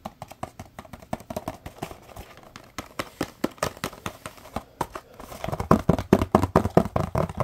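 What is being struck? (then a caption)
Small printed cardboard box. A small, hollow, printed cardboard box is tapped quickly with fingertips and short nails. The taps are short, dry and hollow, with a low thud and little ring, and they grow louder and denser over the last two seconds.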